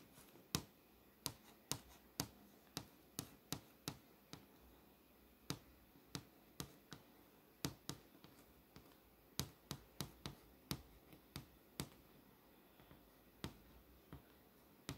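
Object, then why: Glass touchscreen display. A fingertip and nail tap and trace over the clock and date on a glass touchscreen display showing the Windows lock screen. About 24 sharp, dry clicks, some bright and some soft, land at uneven intervals over a quiet, faint background hiss. Each click dies away almost instantly.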